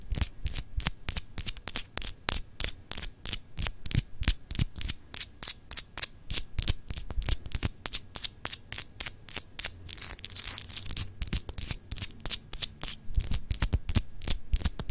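Long acrylic nails scratch the textured surface of a palm-sized solid glass globe paperweight with frosted continents. Around sixty quick, dry, bright scratches and ticks come at an uneven, rapid pace, each dying away almost at once. A steady low hum runs underneath throughout.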